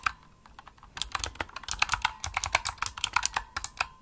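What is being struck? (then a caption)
Plastic mechanical keyboard. Fast typing on a pink plastic Razer mechanical keyboard with backlit keys and a hollow body, struck with long nails and fingertips. Bright, sharp clicky key presses start sparse and quiet, then speed up into a dense, steady run of crisp taps. Each tap is short and dry with almost no ring.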